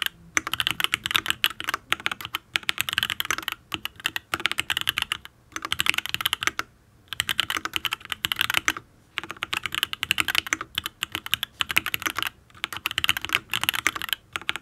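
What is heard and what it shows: Fingertips type in bursts on a full-size custom Matrix Ablex Penpen mechanical keyboard with an aluminium case, ABS keycaps and Tealios V2 linear switches. Rapid, crisp, bright key clacks come in runs of a second or two, each with almost no ring, separated by short pauses.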